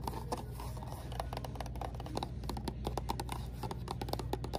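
Long nails rub, scratch and tap a small, hollow white and pink Garnier Water Rose cardboard box held in the hand, with a jar inside. Quick, dry, papery ticks and scratches come in a rapid, uneven stream over a steady low hum. Faint music plays in the background.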